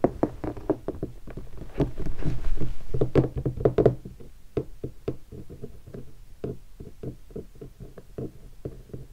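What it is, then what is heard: Guitar hard case. Fingertips tap and knock on the upper lid of a large, hollow guitar hard case covered in black leatherette and vinyl stickers. Quick, irregular knocks give short, dull, hollow thumps with a low resonance around 125 Hz and almost no ring. The knocks swell into a louder, denser flurry in the middle before settling back to lighter taps.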